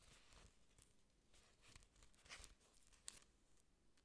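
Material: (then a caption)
Plastic. Long nails scratch and rub the thick, glossy green leaves of an artificial plastic orchid plant with aerial roots at its base, close to the mic. Quiet, dry scratching and rustling crinkles run throughout, with brighter, crisp ticks standing out near the middle and toward the end.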